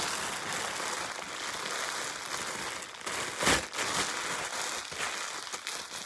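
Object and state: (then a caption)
Plastic bubble wrap. A large, thin, hollow sheet of clear plastic bubble wrap is gathered into a bundle and twisted and crumpled between both hands and fingers, popping and crinkling its air bubbles. A steady, bright crackling rustle with almost no low end runs throughout, broken by a louder, sharper burst of pops about halfway through.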